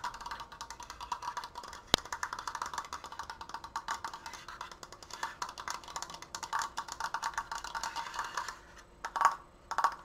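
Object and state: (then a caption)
Wooden frame, fast fingernail tapping. Fingernails tap rapidly near the apex and sides of a large, open, triangular triforce frame made of wooden slats and held upright. The result is a steady stream of dry, hollow wooden clicks centred in the midrange, with one sharp crack near the start. After a brief pause, a few louder, more resonant taps close the clip.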